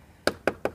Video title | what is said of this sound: REVIEW BUILD QUALITY ADV 160 VERSI KONSUMEN - #tmcblog | dari plastik semuanya bisa dilihat dari hasil dari ketok kayak gini nih